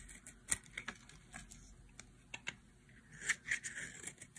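A metal utility blade carves and scrapes the edge of a hand-sized, orange bar of dry soap with a bumpy massage-nub top, held in one hand, shedding flakes. A quiet series of short, dry, crisp clicks and scratchy scrapes follows, bright and high with almost no low end, ending in a cluster of louder scraping strokes.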